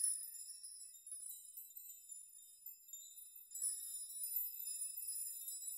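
Spread hands sweep through a chime of hanging metal nails, setting them jingling against one another. A quiet, continuous, bright tinkling rings out with only high shimmering tones and no low end, swelling louder about halfway through as the nails are swept again.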